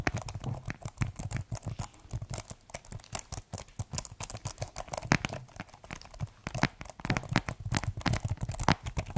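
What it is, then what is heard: Plastic keyboard tapped. Fingertips tap the keys of a keyboard in a white plastic case, producing a steady, irregular stream of quick, dry taps. Each tap is a short, low-weighted thud with a light clicky edge and no ringing. The taps stay soft and close throughout, with occasional louder strikes.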